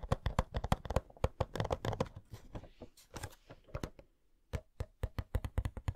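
Long nails tap rapidly on the sides of a hollow cardboard Coca-Cola Funko Pop box with the figure inside. The taps are short, dry and hollow-sounding, with a low body and bright clicky tips. A brief lull near the middle is followed by another quick burst of taps.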